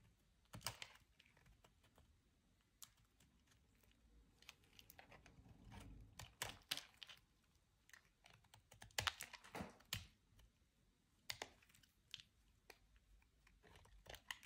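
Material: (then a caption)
Soap. A utility-knife blade scrapes and slices crisp chips from a small, solid piece of white bar soap held between the fingers. Sharp, bright clicks and short dry scrapes come in an irregular, quiet series, with a brief low rustling swell partway through.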